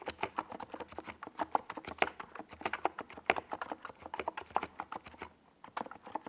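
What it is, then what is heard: Plastic mechanical keyboard. Fingertips type continuously on a small 68-key NiZ Plum Atom 68 mechanical keyboard with a white plastic case and purple and yellow Domikey Gas Attack plastic SA keycaps, resting on a desk pad. A rapid, steady stream of short, clicky plastic taps comes through, each dying away almost instantly, with a mid-range clack and bright edges. There is a brief pause near the end before the typing resumes.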